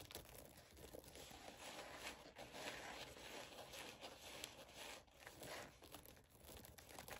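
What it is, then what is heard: Sequin and glitter fabric headband scratched with nails. Long pink acrylic nails scratch and tap a rose-gold Minnie-style mouse-ear headband lying on a woven blanket, working over its glitter-coated ears, sequin fabric bow and padded band. A steady, bright crinkling scratch is heard, with quick tapping clicks layered throughout and little low end.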